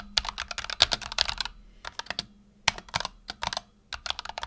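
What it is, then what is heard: Mechanical keyboard with PBT plastic keycaps. Fingertips type on a black tenkeyless Razer Huntsman Tournament Edition keyboard with PBT plastic keycaps and optical switches resting on a desk mat. Quick, bright, clacky keystrokes arrive in dense bursts separated by short pauses. Each click dies away almost instantly.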